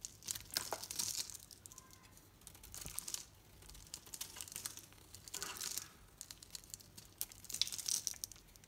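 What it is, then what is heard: Painted soap bar being shaved. A solid green Dalan soap bar painted pink is held in the hand and shaved with a knife blade. The result is quiet, bright, crinkly scraping in several short bursts, with dry shavings peeling away between softer pauses.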